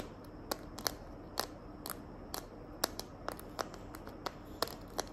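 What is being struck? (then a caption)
Plastic phone case. Long nails tap and scratch the back of a small hand-held smartphone in a green glitter plastic case. Quick, dry, bright clicks with almost no ring stand out irregularly over a faint, steady hiss.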